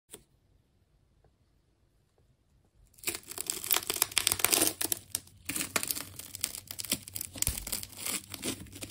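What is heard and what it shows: A hand-sized solid ball of wound plastic packing tape, pale green with colored layers, is sliced and peeled with a utility knife blade. After a faint click and about three seconds of near silence, dense, bright crinkling and tearing of the tape layers runs continuously in uneven bursts to the end.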